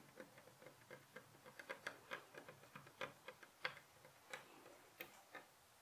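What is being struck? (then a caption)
Wooden bed headboard rail. Fingertips and short nails tap repeatedly on a solid, light pine-look wooden bed headboard rail beside a white pillow. The result is a quiet, clock-like ticking of short, dry clicks with very little ring.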